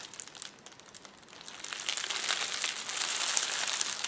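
A roll of clear plastic bubble wrap is squeezed and pressed with the fingers of both hands, crinkling and crushing it. Sparse, quiet crackles at first build into a louder, denser stream of bright, high crinkling and crunching that continues to the end.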